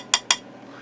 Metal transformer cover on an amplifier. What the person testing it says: when I tap on them they're Hollow so they're not potted Transformers